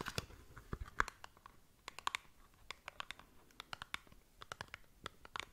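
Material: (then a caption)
Cardboard. Long nails scratch and tap across the surface of a small, hollow cardboard cosmetic product box. About 25 short, dry clicks and crisp scratches are heard, each bright and snapping off almost instantly, with a papery tone centered around 1.1 kHz over a quiet background.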